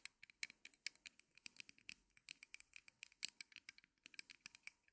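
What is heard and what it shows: Long nails scratch and tap the legs and crossbar of a small wooden mini easel made of thin, solid, light wooden sticks. A quick run of about 29 crisp, dry clicks and scrapes sounds thin and bright, with almost no low end, and each tap dies away at once.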